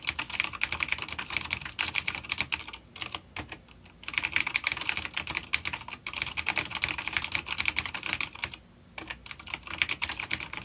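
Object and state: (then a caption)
Vintage clicky mechanical keyboard. Both hands type rapidly with fingertips on a full-size, dark grey plastic vintage mechanical keyboard with grey and dark keycaps and vintage clicky blue switches, an older B-grade unit resting on a wooden desk. The result is a dense stream of sharp, bright clicks with very short decay, broken by two brief pauses.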